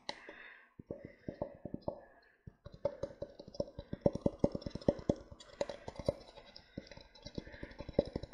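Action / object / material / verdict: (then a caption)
tap / disposable paper cup / paper / none. An empty grey printed disposable paper cup, hollow and held in both hands, is tapped on its sides and upturned base with fingertips and painted nails. The result is a fast, irregular run of short, dry, hollow taps with a mid-pitched resonant tone and bright clicky edges. The taps start softer, pause briefly, then grow denser and louder.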